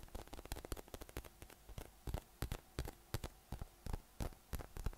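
A yellow, hollow, air-filled inflatable PVC massage ball with nubs is held in one hand and tapped from below with the fingertips. The result is a quick, irregular run of soft, dull, low thumps, each dying away almost at once, with faint rustling between taps.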